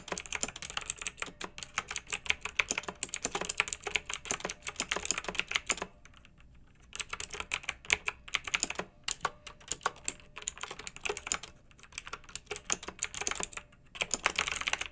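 Both hands with long nails type steadily on a pink, backlit, retro plastic mechanical keyboard with round keycaps, producing a dense stream of bright, sharp clicks and clacks. The typing comes in bursts, with short pauses near 6, 9, 11.5 and 14 seconds before it resumes.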